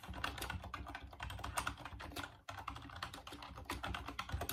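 Fingertips type rapidly on a full-size off-white plastic Dreamcast computer keyboard, producing a dense run of quick, hollow plastic clicks and clacks with a low thump under each keystroke. The typing pauses briefly about halfway through, then resumes at the same brisk pace.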